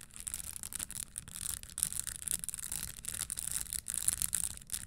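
A red spiked leather stiletto pump sits on a table while long nails rub and scratch the spikes on its upper. The result is a continuous dry, bright scratching hiss with quick clicky bursts and a faint low rumble underneath.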